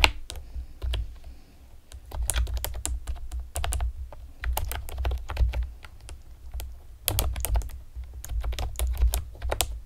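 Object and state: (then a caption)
Plastic keyboard being typed on. Long painted nails and fingertips type rapidly on a pastel plastic typewriter-style computer keyboard with round retro keycaps and hollow keys. Bursts of sharp, bright plastic clicks and taps come in quick runs, separated by brief pauses, over a steady low rumble.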